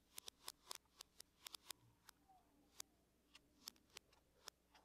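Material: Aluminum.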